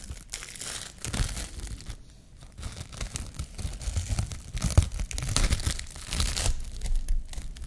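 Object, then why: Plastic cling film roll. A clear plastic cling film roll is held in the hand while long nails peel and pull a loose sheet of film off it. Bursts of crisp, bright crinkling and tearing come and go across the clip, with a soft low rustle underneath.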